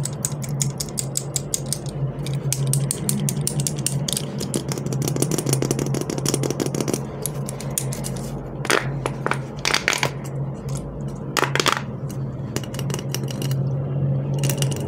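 A hollow, corrugated plastic pop tube giraffe toy is held in both hands and repeatedly pulled out and bent. Its plastic ribs make rapid, ratchet-like clicking over a steady low hum, with louder, brighter bursts of clicks partway through.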